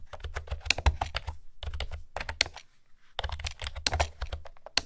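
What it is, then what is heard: Plastic keyboard with round keycaps being typed on. A light blue plastic retro keyboard with pastel round keycaps and a hollow housing is typed on by fingertips with long nails. Quick, dry clicking taps come in bursts, with a brief pause near the middle, each tap bright on top with a hollow low thump beneath.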